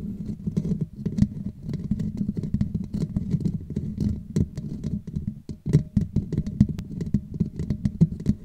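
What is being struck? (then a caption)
Woven metal mesh microphone grille. Long nails quickly scratch and tap over the hollow black woven metal mesh grille on a Blue Yeti microphone head. The result is a dense, low, muffled patter of short taps and scrapes, with occasional sharper clicks that flick brightly. A faint steady tone runs underneath.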